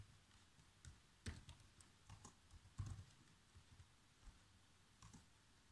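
Fingertips with short nails type fast across the keys of a black plastic chiclet laptop keyboard, making quiet, irregular taps. The clicks are short with a soft low thud and little ring, and a few keystrokes land harder than the rest.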